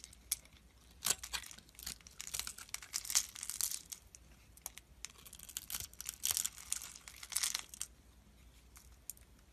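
A utility knife blade scrapes across the pre-scored grid surface of a solid, rectangular, palm-sized beige soap bar held in the hand, and small cubes break off. Quiet, bright, crisp scraping and crumbling bursts come in uneven clusters with short gaps between them. Almost nothing is heard in the low range.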